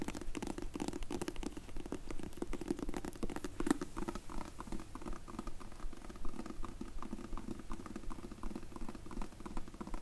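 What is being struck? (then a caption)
Leather-covered hard sunglasses case. Long red acrylic nails tap and scratch across the surface and edges of a closed, hand-sized, rectangular sunglasses case in dark grey textured leather or faux leather, embossed "Zinff" and likely a hollow hard shell, held in both hands. The result is a dense, uneven patter of quick, dry taps and scratches with a hollow low-mid body and very little high sizzle. It holds at a fairly steady, soft level throughout.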